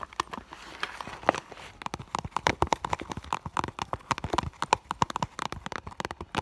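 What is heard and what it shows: Long pink and blue nails tap the front of an iridescent clear vinyl (holographic PVC) school bag near its sequin and fur heart patches; the hollow bag stands on a table with items inside. A quick, uneven run of dozens of crisp, clicky taps is heard, each dying away almost instantly, with a hollow tone near 700 Hz to 1 kHz and a soft rustle in between.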